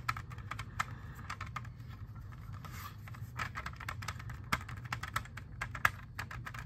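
A hand-sized, hollow, clear plastic CD jewel case holding a disc is tapped with long fingernails. Quick, irregular, crisp clicks and light scratchy taps fall over a steady low hum, with a few louder, brighter clicks standing out. Each tap dies away almost at once.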